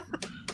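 Three quick, faint taps on the plastic case of an original Xbox console, each a short, dry click with a bright upper edge and almost no ring.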